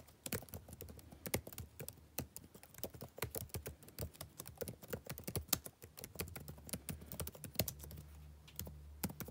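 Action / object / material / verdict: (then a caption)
tap / plastic laptop keyboard / plastic / none. Fingertips type continuously on a backlit laptop keyboard with plastic keys, producing a fast, uneven stream of short, bright taps and clacks. Each tap dies away almost instantly over a faint, steady low hum.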